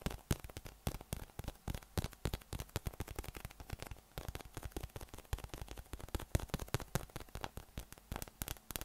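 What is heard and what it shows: A yellow, hollow, inflated PVC spiky massage ball with nubs is held in one hand and tapped from below with the fingertips. It makes a rapid, continuous stream of soft, hollow, low thuds that stop almost instantly, with a faint crackle between them.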